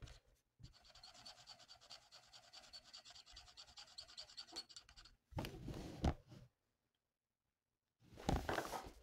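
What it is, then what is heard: Paper sheet being colored with a marker. A felt-tip marker colors a thin, flat paper coloring sheet lying on a table. Quiet, rapid rubbing strokes scratch steadily for about five seconds. Two louder, fuller bursts of handling follow, with a silent pause between them.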